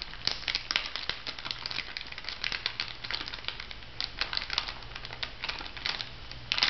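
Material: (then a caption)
Plastic foil. An orange plastic foil cosmetic sachet is scratched and crinkled by long nails, giving a dense stream of bright, crisp crackles and sharp clicks over a faint low hum. The crinkling runs steadily throughout the clip and grows louder in a final flurry at the end.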